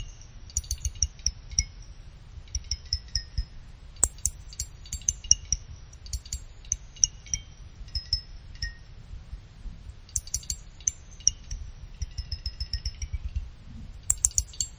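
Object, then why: Finned aluminum CPU heatsink. A pick plucks the thin fins of a small finned aluminum CPU cooler heatsink one after another, giving rapid runs of short, high, bright chime-like pings that ring briefly. The plucks come in clustered bursts with short pauses between them, over a steady low rumble.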